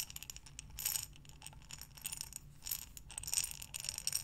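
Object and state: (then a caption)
Glass jar of buttons. A glass mason jar with a metal lid, full of buttons, is turned and tilted by hands with long dark nails. The buttons rattle and clatter against the glass in quick, bright clicks that swell into louder bursts as the jar tips, over a faint low hum.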